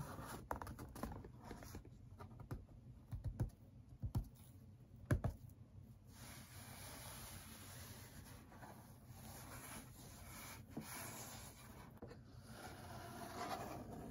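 Fingertips and nails scratch and rub the flaps and top of a hollow brown corrugated cardboard shipping box that rests on a table and is held. The sound is a quiet, low, papery scraping with a patter of soft rubbing throughout. A few sharper, dry taps stand out near the middle.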